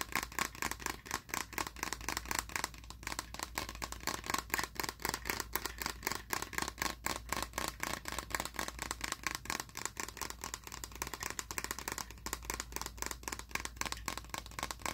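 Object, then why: Plastic shaker bottle. Fingernails tap rapidly and irregularly on the sides of a hollow, seemingly empty blue translucent plastic shaker bottle. The taps are short, dry and bright clicks with almost no ring and a faint pitch near 1 kHz, over a steady low hum.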